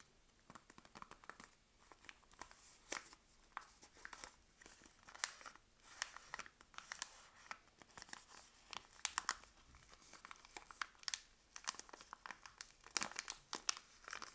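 Long acrylic nails scratch and rub the printed paper wrapper of a solid, rectangular Palmolive soap bar held in both hands. The sound is a steady stream of quiet, crisp, high-pitched paper crinkles and scratches, with frequent short, sharp bursts.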